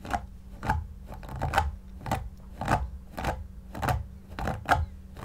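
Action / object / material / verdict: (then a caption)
scrape / synthetic shag fur cushion / synthetic fur / none. A white paddle brush with pin bristles is pulled repeatedly through the long synthetic fibres of a soft, stuffed shaggy faux fur pillow while the other hand steadies it. Each stroke is a short, dry, scratchy swish with a mid-range rasp over a soft low rub. The strokes come at an uneven, unhurried pace over a faint steady low hum.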